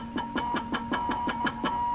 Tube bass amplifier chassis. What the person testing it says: if I tap on it, you can hear it. Ding ding, whistle, whistle, whistle.